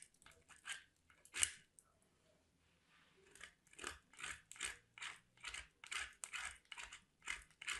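A piece of white solid soap is grated by hand against a small metal box grater, with shavings falling away. About sixteen short, bright scraping rasps are heard, with a quiet pause early on, then a quicker, steady run of strokes to the end.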